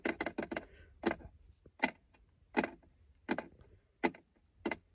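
Fingertips and nails tap and scratch the textured surface of a dark grey, palm-sized, hollow-backed plastic shift-selector panel around an automatic gear lever in a car's center console. A quick run of four sharp taps opens the clip, followed by single taps spaced irregularly, eleven in all. Each is a dry, bright click with almost no ring, heard over a faint low rumble.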